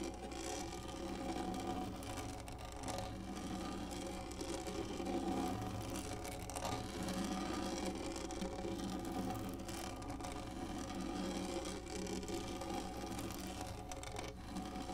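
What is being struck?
Textured plastic lap tray.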